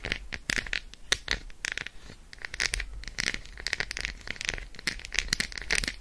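Long acrylic nails rapidly tap and scratch the squares of an unwrapped Roshen milk chocolate bar, a solid segmented slab resting on fur. The result is a dense stream of crisp, bright clicks and dry scratching strokes that stop instantly, with a steady brittle tone around 2 kHz.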